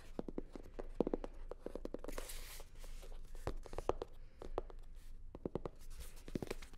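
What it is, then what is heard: Hollow faux leather sunglasses case. Long nails tap and scratch a hollow, navy blue hard-shell sunglasses case covered in faux leather. Quick, dry clicks with a hollow mid-pitched knock, around 470 Hz, come in irregular bursts, broken by a short, bright scratching hiss near the two-second mark. The taps are close and quiet, and each dies away almost at once.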